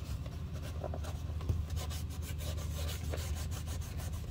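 A black glossy leather driver loafer, hollow and held in a gloved hand, is rubbed along the toe and side with a white cloth wrapped over gloved fingertips to polish it. A steady, soft, low rubbing and brushing sound continues with faint bright swishes of cloth over leather.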